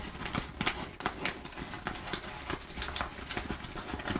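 Long nails scratch and pick at the surface of crumpled kraft packing paper with rows of perforations. The result is a steady, dry crackle and rustle, broken by irregular sharp clicks and bright scratchy bursts that stop quickly.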